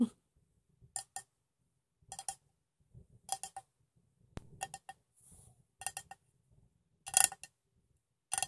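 A metal cup containing water is tapped in short clusters of quick, light taps, each giving a bright metallic clink with a faint pitched ring that dies away almost at once. Soft low rustling sits between the quiet taps.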